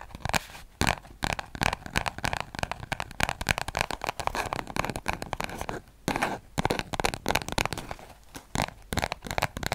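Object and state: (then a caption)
Paper spiral notebook. A small orange-covered paper spiral notebook is held close to a microphone while fingertips rub and scratch its cover and pages. The result is a dense run of dry, crackly scratching and crinkling with quick bright transients, plus a few brief pauses.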